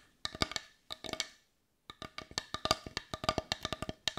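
Long nails tap a hollow, hand-sized, heart-shaped dark brown wooden bowl, which is turned to show its rounded back. About 23 quick, bright, hollow wooden clicks come in small clusters, then a brief silence, then a steadier run of taps. Each tap dies away almost instantly.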